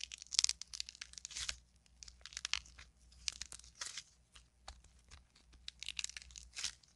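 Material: Modeling clay.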